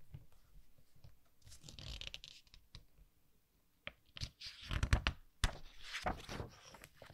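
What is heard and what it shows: Fingertips rub over the glossy pages of a softcover artbook resting on a wooden table, then turn a page. Quiet, dry papery swishes and scratchy rubbing give way to louder crinkling, with a few sharp bright snaps as the page lifts and flips before settling back into soft rustling.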